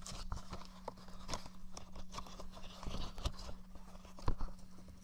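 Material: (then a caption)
Plastic. A blue, hollow plastic PS4-style gamepad is moved and tapped with fingertips beside a dummy head's left ear. Soft, dry plastic taps and handling rustles come close and quiet over a steady low hum, with one sharper knock near the end.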